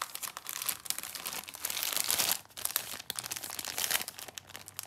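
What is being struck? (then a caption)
Plastic film snack multipack. Fingertips with long painted nails hold, rub and turn over a sealed yellow plastic film multipack of Rocky Caramel chocolate bars, an 8-pack, crinkling the wrapper. The sound is a dense, bright, crackly rustle with almost no low end, building to a louder stretch of crinkling before a brief lull, then resuming in quick sharp crackles.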